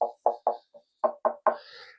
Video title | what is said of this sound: Enceintes Kenwood LSK200B: on désosse! | ça sonne un petit peu le creux mais pas trop